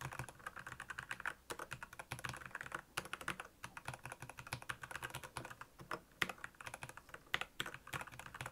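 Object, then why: Plastic mechanical keyboard. Fingertips type rapidly on the backlit keys of a black plastic Royal Kludge mechanical keyboard. A fast, steady stream of short, crisp plastic clacks with a bright top and a soft low thump under each keystroke, each click dying away almost instantly.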